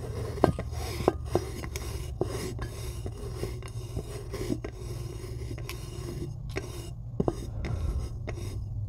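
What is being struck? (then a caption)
White chalk block. Long acrylic nails scratch and tap across the pitted top surface of a solid white block of chalk. Soft, dry scraping runs throughout over a steady low hum, broken by short, sharp taps that die away almost instantly.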